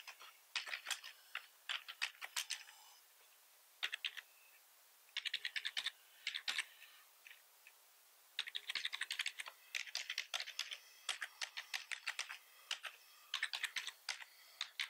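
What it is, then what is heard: Plastic computer keyboard being typed on. Fingertips of both hands type rapidly on a full-size black plastic computer keyboard with red accent keys. Bursts of quick, bright, clicky keystrokes with almost no low end are separated by short pauses, building into a near-continuous flurry over the second half.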